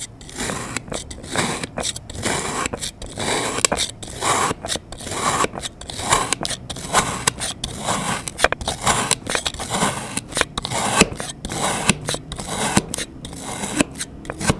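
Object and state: Kinetic sand mound being cut.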